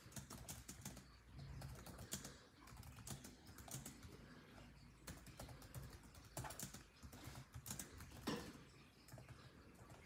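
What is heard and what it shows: A built-in laptop keyboard with dark plastic chiclet keys in a grey laptop body is typed on rapidly with the fingertips of both hands. The key taps come as quick, quiet, clicky presses with bright edges and short decays, over a steady low rumble, with a few louder taps standing out.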